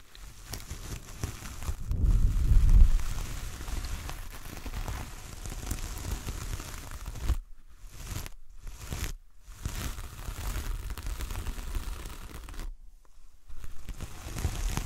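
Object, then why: Coconut coir door mat. Long fingernails on both hands scratch the coarse fibres of a large, flat coconut coir door mat with a star print. The result is a dense, crackly rustling with a low rumble that swells around the second to third second. The sound briefly drops out several times near the end.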